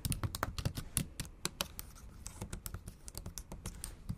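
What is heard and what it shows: Long acrylic nails type fast on the black plastic keys of a MacBook Pro laptop keyboard set in an aluminum body. Rapid, uneven clicks and taps with sharp bright edges sit over a soft low thud, and each keystroke dies away almost instantly.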